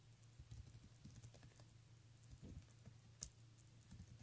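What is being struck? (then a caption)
Plastic beaded handbag. Fingertips and nails tap and rake quickly over the beads on the front of a pink plastic beaded handbag. Soft, rapid, typing-like clicks and light patter play over a steady low hum, with one sharper, bright click standing out near the end.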